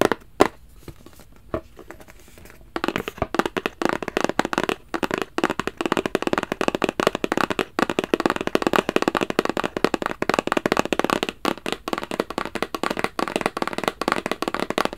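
A black rigid cardboard Versace gift box with a gold emblem is held upright and tapped with fingertips and nails. A few scattered taps in the first seconds give way to fast, continuous tapping and clicking. The hits are short, dry and papery, centred in the mids with little low end.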